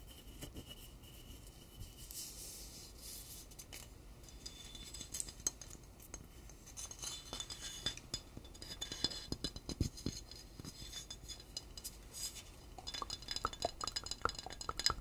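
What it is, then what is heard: Glass liquor bottle. A medium clear glass liquor bottle, partly filled with amber liquid and with a paper label and white cap, is held in both hands while fingertips and nails rub and tap its surface. Many quick, soft, bright clicks and taps ring out over a steady faint hiss. The taps grow denser toward the end.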